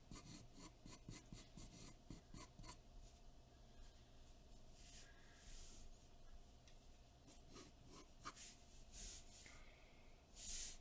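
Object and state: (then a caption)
Pencil sketching on drawing paper. A graphite pencil scratches sketch lines across a large sheet of white drawing paper taped flat to a dark board. Quick, bright, dry scratchy strokes come in a rapid run at first, then give way to longer, softer rubbing passes with a few sharper flicks. A faint steady hum sits underneath throughout.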